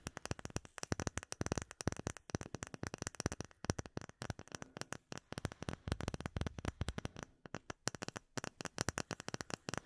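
Long nails tap rapidly on a small, solid, rectangular clear acrylic plate with embedded bubbles, making a dense, irregular stream of short, dry clicks. Each tap stops almost instantly, with a low, hollow knock under a faint bright tick, and the tapping runs steadily throughout with brief pauses.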